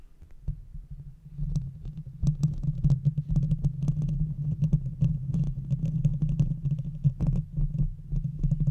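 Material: Metal.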